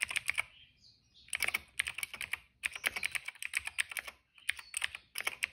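Fingertips of both hands type on a retro-style cream plastic mechanical keyboard with black and purple keycaps. Crisp, bright clicks come in quick bursts separated by short pauses, with the sound centered high around 2 kHz and no ring after each keystroke.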